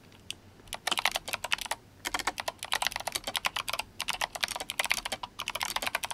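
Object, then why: Plastic mechanical keyboard with tall SA keycaps. Fingertips of both hands type steadily on a GMMK Compact, a compact RGB-backlit mechanical keyboard with Kailh Box White switches and plastic SA keycaps. About 30 sharp, bright clicky keystrokes come in quick bursts with brief pauses between runs, each click dying away almost instantly.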